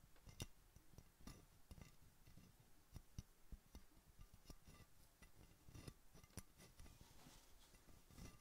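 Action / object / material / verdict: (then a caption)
tap / small glass soda bottle with metal cap / glass / none. A gloved hand with long pink nails taps around the neck and red metal cap of a small, empty glass Coca-Cola bottle. It makes a quiet, irregular series of short, dry taps and bright clicks that die away almost at once, over a low, soft background, with the cap's metal sound possibly mixed in with the glass.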